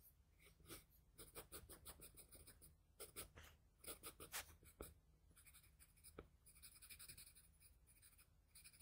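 A wooden pencil's graphite tip scratches across a flat sheet of drawing paper in light shading strokes. The result is a quiet, bright, scratchy hiss in quick, irregular back-and-forth bursts over a steady low hum, with a couple of sharper ticks where the tip catches.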